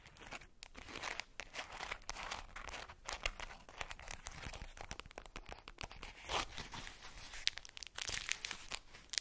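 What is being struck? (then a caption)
Ball wrapped in tissue paper. A ball wrapped in polka-dot tissue paper is squeezed and scratched with long nails, crinkling the paper. The result is a steady run of quiet, dry, bright crackles and rustles, with a few louder crunches and tearing-like bursts.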